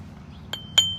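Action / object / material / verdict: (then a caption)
tap / aluminum oil filter cap wrench / aluminum / none. An aluminum cap-style oil filter wrench that takes a 7/8 socket, meant to fit over the canister oil filter of a 2019 Toyota Corolla, is tapped twice. Each tap gives a light, bright metallic clink. The second tap is louder and leaves a high, thin ring that fades out over the rest of the clip.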